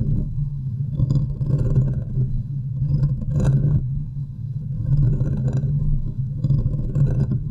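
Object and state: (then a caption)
Metal microphone grille being scratched. Long nails from both hands scratch around the top of the hollow metal mesh grille of a large USB microphone. The result is a continuous, heavy low-pitched rumble centered near 130 Hz, swelling in uneven waves with faint scratchy detail above.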